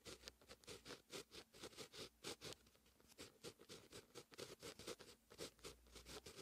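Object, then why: Paper notebook page written on with a fine-tip pen. A fine-tip pen with a grey grip writes Korean handwriting across a lined white paper notebook page lying flat. The pen tip scratches steadily across the paper in continuous strokes, giving a quiet, bright, rhythmic scratching that swells and fades with each stroke.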